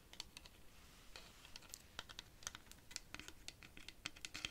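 Long pink nails scratch and tap along the ridged surface of a large hollow rainstick made of dried cactus wood, with a colored yarn band at one end. The result is a rapid, irregular series of quiet, dry, bright clicks and scratches, each one stopping almost instantly, over a faint low hiss.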